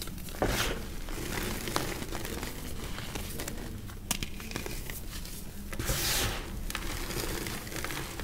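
Bare hands squeeze, press and crumble solid, dry chunks of white reformed cornstarch gym chalk between fingers and palms over a pile of loose powder, rubbing them into powder. A steady, dry crunching and crinkling runs throughout, with crisp, bright crackling bursts over a soft low rumble as the chunks break down.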